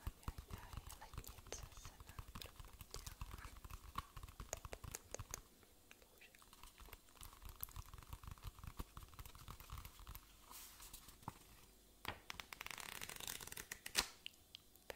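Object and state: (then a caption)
Paperback book tapped with fingernails. Fingernails tap rapidly on the cover of a solid white paperback book with paper pages, held in one hand. The result is a dense run of short, dry, clicky taps with bright edges and a soft low thump beneath. The tapping eases into a quieter, scratchier stretch midway, then picks up again with a sharp burst near the end.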